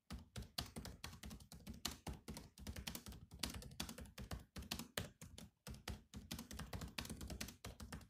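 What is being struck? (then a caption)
Laptop keyboard, plastic keys. Both hands type rapidly with fingertips on a silver laptop's black plastic keys. The result is a steady stream of short, dry taps, each a soft low thump with a bright clicky top, broken by brief pauses between bursts.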